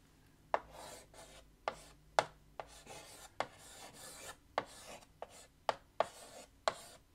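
White chalk held in the fingertips writes on a large flat black chalkboard in a wooden frame. Eleven sharp taps land as the chalk meets the board, each followed by a dry, scratchy rasp of the stroke. The taps fade almost at once.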